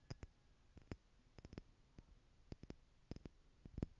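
Long nails tap the lid and sides of a small clear plastic stackable jar tower partly filled with loose gold glitter or jewels, and the tower is tilted and shaken close up. Quiet, sharp clicks with very short ring sound in irregular clusters over a soft low background.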